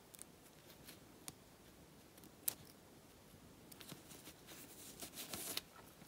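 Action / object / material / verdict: scrape / faux leather jacket surface / faux leather / none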